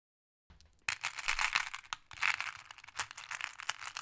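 Small, solid, flat glass decorative pebbles in clear, blue, black and amber are heaped in a wooden tray. One hand holds a handful of green glass pebbles while the other picks through the pile, clicking pebbles with fingertips and long painted nails. After a faint start, a dense stream of bright, sharp glassy clicks and rattles continues throughout.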